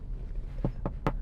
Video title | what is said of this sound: TOYOTA INI SERING DIBILANG CAMRY VERSI SUV: HARRIER 2015 | diketok Tuh suara aja tuh dek dek enggak berisik gitu